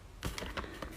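Half-sized xuan rice paper is torn, giving a series of short, crisp crackling rips with bright high-frequency bursts. The crisp sound marks it as brittle, lower-quality half-sized paper, with almost no cotton fibres at the torn edge.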